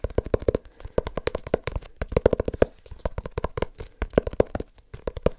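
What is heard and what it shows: A small leather-bound book is tapped rapidly with the fingertips in a fast, uneven patter of roughly 34 taps. Each tap is a short, dry, muffled knock centred around 480 Hz, with almost no ring and very little high-frequency content.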